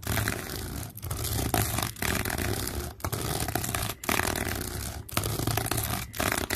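Fingertips and nails scratch along the ridges of a hollow, dark red, ribbed flexible corrugated plastic hose. Repeated broadband, rasping scrapes with a low rumbling undertone come in roughly one-second passes. Each pass is separated by a brief dip in level.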